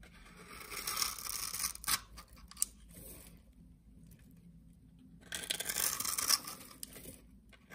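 A utility knife scores a grid into the surface of a solid blue soap bar and then slices cubes off it. Two bursts of dry, bright scraping and crisp cutting are heard, separated by a quieter pause with a low steady hum underneath.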